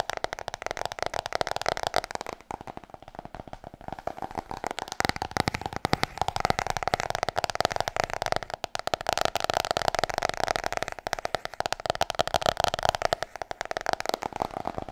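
Rapid, crisp fingernail taps on a hardcover book, each click short and dry with a boxy mid-range tone.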